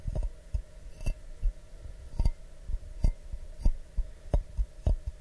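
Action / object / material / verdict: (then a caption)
tap / clear glass mug / glass / none. An empty, medium, hollow clear glass mug held in both hands is tapped with fingertips and nails, giving a steady series of soft, dull, low taps. Some taps carry a faint bright click from the nails, and each one dies away almost at once with very little ring.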